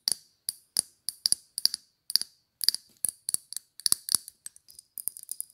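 Long, dark, polished nails tap a small square Chanel glass perfume bottle with a silver cap, held in the hand. The result is a quick, irregular run of sharp, bright clicks and clinks, often in fast doubles and triples, each dying away almost instantly with a thin high glassy tone and no low end.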